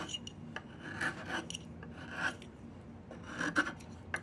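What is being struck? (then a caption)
Diamond willow walking stick scraped with a carving blade. A metal carving blade with a yellow handle scrapes and shaves along a long, solid, partly debarked diamond willow walking stick held across the lap. Short, dry rasping strokes come in an uneven series, each with a bright scratchy edge and a mid-high tone around 1.5 kHz over a soft, steady low rumble.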